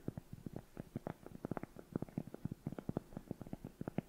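A round, flat, solid cork coaster held in both hands close up is tapped and scratched across its surface with long nails. A rapid, uneven patter of soft, dull taps comes through, low and muffled, with faint scratchy texture between them. Each tap dies away at once with no ring.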